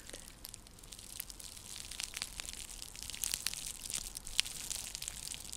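Long nails scratch across a round, flat, coiled woven seagrass coaster. The result is a quiet, dense, crackly scratching, bright and high-pitched, with many tiny dry clicks that grow slightly louder toward the end.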